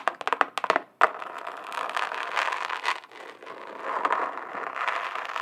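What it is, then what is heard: Glitter-covered notebook. A flat rectangular notebook or folder with a chunky glitter surface, held up in one hand, is tapped and scratched with the long acrylic nails of the other hand. A quick run of sharp, crisp taps is followed by a louder tap and then steady, gritty scratching across the glittery cover, with a mid-to-bright crackling texture and no low end.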